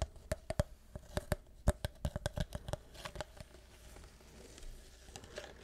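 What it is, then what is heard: Plastic syrup bottle. A tall DaVinci vanilla syrup bottle, likely PET plastic and partly full, is held in one hand and tapped with fingernails. Quick, uneven clicky taps with a hollow ring near 600 Hz come first, each dying away almost at once. After about three seconds they give way to softer, quieter tapping and faint handling noise.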